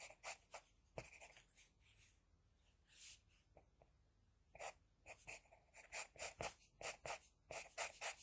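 An HB pencil scratches across a flat sheet of drawing paper while sketching hair and a jaw line. About seventeen short, uneven strokes come through as quiet, bright, hissing scrapes with pauses between bursts.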